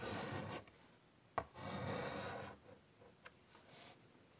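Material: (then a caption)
Chalk. White chalk scrapes long rasping lines across a large wood-framed chalkboard, with a gritty stroke at the start and a longer one after a sharp tap. Softer taps and a brief stroke follow, and the scraping carries a bright, hissy edge.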